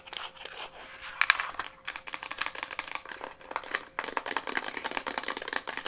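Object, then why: Plastic instant camera body. Long nails rapidly tap and scratch a hollow pink Instax Mini plastic instant camera, including around the lens. The sound is a dense run of quick, dry, bright clicks and crinkly scrapes with almost no low end, pausing briefly near 2 and 4 seconds.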